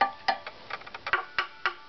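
A wooden violin tuning peg is tapped repeatedly and checked against a tap tone reference tool, giving a series of short, dry, woody knocks with a clear pitched tone around 800 Hz that dies away almost at once. The peg's tap tone is judged good.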